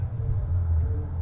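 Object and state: Nothing is struck.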